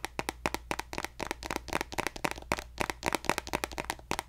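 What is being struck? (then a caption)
Plastic lotion bottle. A pink plastic lotion bottle, held horizontally, is tapped along its body with fingertips and nails. Quick, irregular, dry clicking taps follow one another with bright tops and almost no ring, over a faint low hum.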